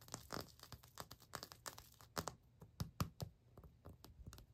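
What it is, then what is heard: Ceramic floor tile. Fingertips and short nails tap and scratch across white glazed ceramic bathroom floor tiles with grout lines and small dark-blue accent tiles on a solid floor. The result is a quick, uneven run of dry, dull clicks mixed with scratchy rasps, each dying away at once with no ring.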